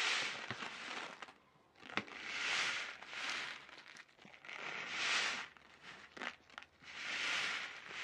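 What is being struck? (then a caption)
Sealed plastic-film snack packet. A sealed orange plastic-film snack packet, held by its ends, is crinkled and shaken with fingertips in front of a foam mic. Bright, crackling crinkles swell and fade in repeated bursts, broken by a few sharp snaps, with little low-end body.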